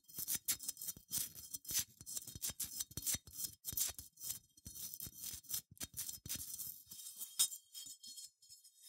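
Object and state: Unglazed ceramic sheep figurine.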